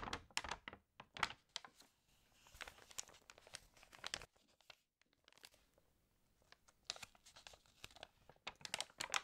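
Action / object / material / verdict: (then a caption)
scrape / glossy paper magazine / glossy paper / none. An open glossy-paper magazine is handled as hands rub and turn its pages, crinkling the paper. Bright, papery crackles and rustles come in clustered bursts, with a near-silent pause in the middle before the crinkling picks up again toward the end.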